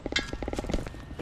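A plastic ball buried in mud is knocked repeatedly, giving a quick series of dull, hollow taps that die away almost at once. The knocks sound plastic, and once dug out the object turns out to be a cracked plastic ball.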